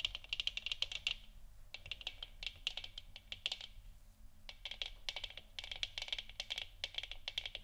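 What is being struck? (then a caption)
Plastic lamp sphere. Long nails tap and scratch quickly against the sides of a hollow plastic moon lamp sphere, and the hands tilt the lamp slightly at the end. The result is dense bursts of short, dry, bright clicks centered near 3 kHz, broken by brief pauses, over a faint low hum.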